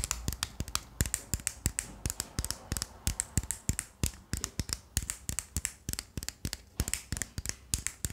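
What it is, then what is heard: Plastic Rubik's cube being turned. Fingertips rapidly twist the layers of a small, solid 3x3 plastic speed cube with a black carbon-fibre body and colored stickers, held close to the microphone. Dozens of quick, sharp plastic clicks and short scrapes come in an uneven rhythm, each with a bright snap and very little ring.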